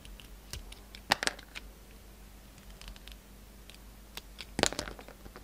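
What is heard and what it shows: A yellow utility knife blade slices thin layers off a solid white bar of soap with a silver scalloped coating, held in the hand. Quiet, crisp, crunchy scraping clicks and crackles come in scattered bursts, with louder cuts near the start and again toward the end. A faint low hum sits underneath.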